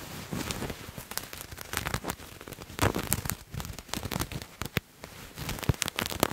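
Fingernails scratch a purple paisley-patterned fabric garment held in the hands, producing dense, irregular bursts of crackly, rustling scratches. The sharp, dry strokes run bright and broadband with quick decays, rising and falling in loudness throughout.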